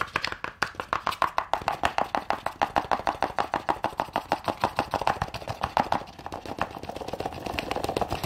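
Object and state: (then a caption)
Cardboard gift box tapped with nails. A small hollow cardboard gift box with a gold glitter lid, held in one hand, is tapped quickly with long nails. It makes a rapid, slightly uneven run of crisp, hollow taps with a papery tone around 800 Hz. The taps blur into a denser, softer patter near the end.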